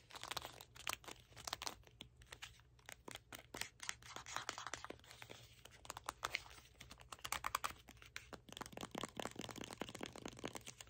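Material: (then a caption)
Cardboard. A small red cardboard box is held in both hands while fingernails tap and scratch across its printed face. The result is a dense run of quick, dry, bright taps mixed with papery scratching and crinkling, each tap dying away almost instantly. A faint steady low hum sits underneath.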